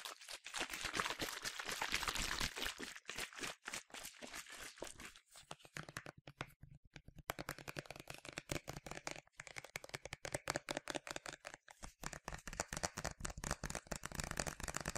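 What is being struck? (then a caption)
Plastic spray bottle. A medium yellow plastic sunscreen spray bottle with a translucent cap, hollow and partly filled, is held upright and tapped quickly with fingertips and nails. The result is a fast, uneven stream of bright, hollow plastic clicks and taps with a crinkly texture and short ring. There is a brief quieter pause near the middle before the tapping picks up again.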